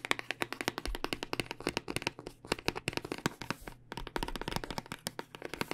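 A long clear plastic tube packaging full of small dice, with a cardboard end, is held horizontally while its plastic part is tapped with long dark nails. A quick, uneven run of dry, bright clicking taps dies away almost instantly, with faint rattling between strikes and a steady low hum underneath.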